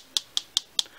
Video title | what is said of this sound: Thrunite Ti4T VS Nitecore MT06: Penlight Showdown | the batteries do rattle a little bit inside the light. So even as I tap this one, you can hear it.